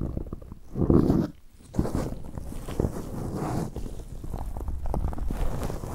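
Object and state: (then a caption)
Foam microphone windscreen being rubbed. Latex-gloved hands rub a black soft foam windscreen on a Zoom recorder from the sides, then clasp and squeeze it. The result is a close, muffled, low-heavy rustling and scrubbing with soft thumps, swelling in a loud burst near the start and then settling into steady rubbing.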